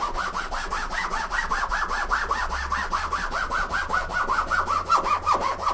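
A hand vigorously rubs a green microfiber cloth back and forth across the fabric top of a large, closed, hollow, soft-sided blue nylon suitcase resting on a wooden table. It makes a fast, steady run of scratchy, swishing strokes, about two to three per second, centred in the mid range with a faint low hum beneath.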